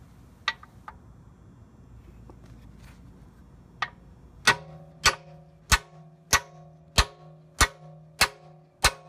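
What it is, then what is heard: Aluminum subframe bushing being hammered in. A small solid machined aluminum subframe bushing for an S13 is set by hand into a steel car subframe mount, with a few light taps and knocks. It is then driven down with eight sharp, evenly spaced blows from a blue-headed, yellow-handled hammer. Each blow gives a bright metallic clank with a brief ringing tone.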